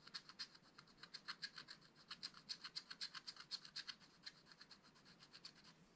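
A wooden stylus scratches repeated short strokes across the flat black-coated card of a spiral-bound scratch-art pad. Each stroke makes a quiet, bright, dry scrape with almost no low end, coming in quick, uneven bursts that fade slightly toward the end.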